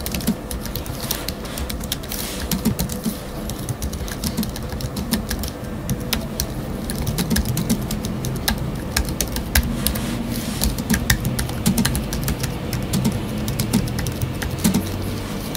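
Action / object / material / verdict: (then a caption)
tap / low-profile aluminium keyboard with plastic scissor-switch keys / aluminium, plastic / none. Fingertips with short nails rapidly tap the black plastic scissor-switch keys of a space grey Apple Magic Keyboard 2 with numeric keypad, a thin, full-size, low-profile aluminium keyboard lying on a wooden desk. The quick, soft clicks run in a steady, dense stream with a low thud beneath and brief bright ticks on top.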